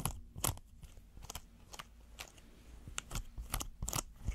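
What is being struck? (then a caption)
Silicone pot holder. A red textured silicone pot holder is folded and rolled in the hands while fingernails scratch and squeeze it. The result is irregular, quiet crinkly crunches and scrapes with bright, crackly edges over a low rumbling background.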